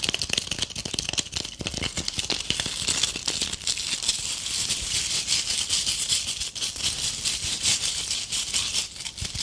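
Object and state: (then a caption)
Tinsel-covered ornament ball. Long painted acrylic nails rapidly scratch and tap a palm-sized ornament ball covered in gold metallic tinsel, held close. A dense, bright crinkly rattle of fast clicks and scrapes runs continuously without pause, almost all high-frequency with very little low end.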